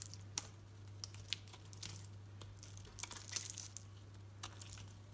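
A utility knife blade shaves and cuts curls from the surface of a solid green soap bar held in the hand. Quiet, bright, crackly scrapes and crisp little snaps come in irregular bursts over a steady low hum.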